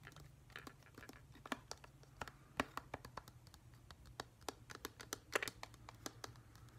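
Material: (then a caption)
Plastic. A hand-sized, hollow, glossy plastic whale-shaped night light with a pale blue-grey top and white base is held in the hands and tapped with fingertips and nails. Quick, irregular clicks and sharp taps, some bright and scratchy, ring only briefly over a faint low hum.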